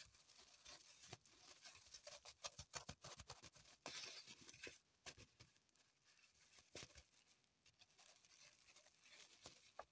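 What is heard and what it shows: Long pointed nails scratch and dig at a dark green floral foam block in a thin plastic wrapper resting on a table. The result is a quiet run of bright, crinkly scratches and irregular quick crackling taps, mostly high-pitched with very little low end, each sound dying away almost instantly.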